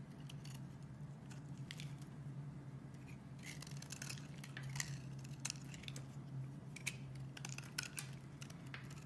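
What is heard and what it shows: A metal blade scrapes and carves thin shavings off one end of a rectangular solid bar of soap with green and beige layers, held in a hand with long red nails. Crisp, bright scratching and crackling strokes come in uneven bursts over a steady low hum.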